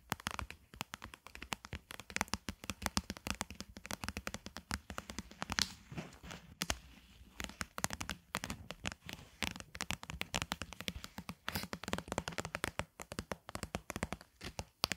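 Long glittery acrylic nails tap and scratch rapidly along the sides of a medium, hollow, clear plastic jar-like container filled with pink loofah mesh. A dense stream of short, dry clicks and crinkly scratches fills the clip, bright and crackly with almost no ring after each touch.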